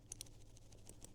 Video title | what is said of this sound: Tomtoc T35 X-Pac Sling Bag - Better Than the T21? | I am shaking it. Not so much. Right. So, this rattle is not there.